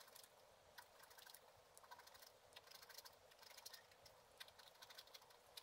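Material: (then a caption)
Coated paper. A black-coated scratch art card lying flat is scratched with a wooden stylus in slow strokes. Quiet, bright, dry scratching comes in irregular short bursts over a steady high hiss, with almost nothing in the low end.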